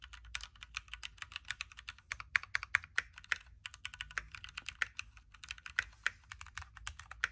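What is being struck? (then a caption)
Mechanical keyboard with plastic keycaps. Fingertips of both hands type continuously on a backlit Keychron Q3 Knob hot-swappable mechanical keyboard with red switches, a metal case and plastic keycaps. The result is a steady stream of sharp, dry clicks and clacks, with no ring and a bright emphasis around 1.8 kHz. Occasional louder key strikes stand out from the flow.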